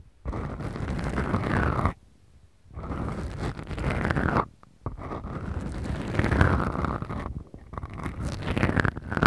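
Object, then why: Foam microphone windscreens. Long acrylic nails slowly scratch two small, soft, porous black foam windscreens on the mics of a Tascam recorder. They make a deep, muffled, rumbling scrape that is mostly low, with a faint sweeping whistle-like tone above it. The sound comes in four long passes separated by brief near-silent pauses.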